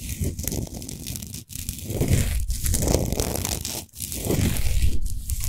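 Long nails on both hands scratch a large solid pink Himalayan salt sphere lamp with the light off. The scratching is dense, rough, and continuous, with low rumbling rasps and bright grainy hiss. Two brief near-silent breaks interrupt the scratching.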